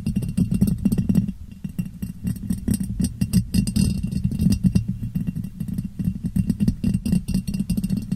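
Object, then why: Ribbed glass jar. Long painted nails rapidly tap and scratch a clear, hollow, empty ribbed glass jar turned upside down over a microphone. A dense, continuous patter of short clicks and scrapes sits on a boomy, low hollow resonance around 190 Hz, with bright scratchy ticks above. Each tap dies away almost instantly.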